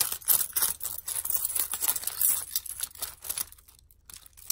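A hand-sized bundle of metal keys, fobs and a crystal charm is dangled and shaken vigorously by hand. Dense, irregular, bright metallic jangling and clinking follow, with short crisp rings. The jangling thins out toward the end, leaving a near pause and a few last light clinks.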